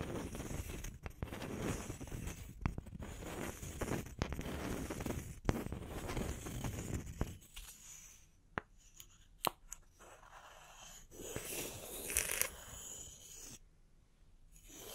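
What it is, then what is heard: Wooden log slices. Two small, solid round wooden log slices are tapped with long nails, then brought together and knocked or rubbed against each other. Dense, scratchy rubbing with sharp, dry clicks fills the first half. It thins out to a quieter stretch with a few isolated crisp knocks and a brief bright scraping burst.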